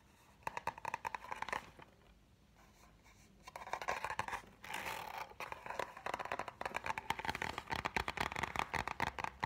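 A large spiral-bound notebook with a brown kraft cardboard cover printed with red graphics is held upright while fingernails and fingertips tap and scratch the cover. Quick dry clicks and papery rasping scratches come in dense bursts, mostly in the midrange, with a short quiet pause early on before the scratching resumes and continues steadily. Each tap stops dead, with almost no ring.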